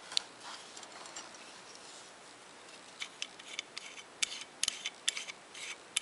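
A hand-sized solid metal climbing carabiner with a knurled screw-lock sleeve is held in both hands while fingertips twist the threaded locking sleeve and work the gate. Soft, bright scraping and ratcheting metal sounds are broken by sharp, short clicks that grow more frequent toward the end, with almost no low end.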